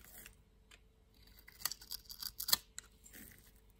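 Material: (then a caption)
Soap. A utility knife blade is scraped across the surface of a solid green-and-white striped soap bar held in the palm, and green flakes come off. Quiet, dry, bright scraping strokes cluster in the middle of the clip, with the loudest, sharpest scrape near the end, each dying away almost instantly.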